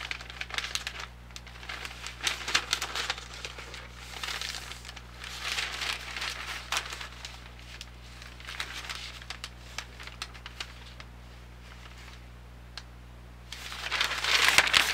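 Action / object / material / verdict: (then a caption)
scrape / folded newsprint paper flyer / newsprint paper / none. Thin newsprint from one large, folded supermarket ad flyer crinkles and rustles as it is held in both hands with long painted nails, its pages handled, flexed and turned. Bright, papery bursts come and go over a faint, steady low hum, with a quieter stretch near the end before a louder rush of crinkling.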